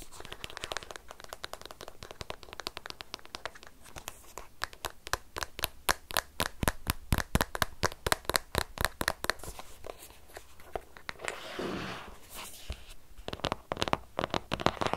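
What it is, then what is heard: Cardboard box tapped. Fingertips and short nails tap and grip across the top of a long, narrow, sealed white cardboard Apple Pencil retail box, with the pencil probably still inside. Rapid, irregular crisp taps and clicks come in a dense stream, with a brief scratchy rustle of gripping near the end before the tapping resumes.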